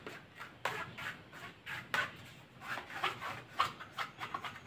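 A hand-sized, solid, cylindrical dark grey Bluetooth speaker with a woven fabric mesh cover is held in one hand while the fingertips and nails of the other scratch and rub along its fabric surface. The result is a quick series of dry, rasping scratches with bright, hissy texture and almost no low end, each stroke stopping short with no ring.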